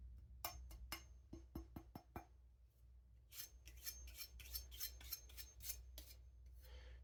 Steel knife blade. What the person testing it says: Edge is so thin, it's ringing out. Is it edge flexing? Yeah, it's edge flexing.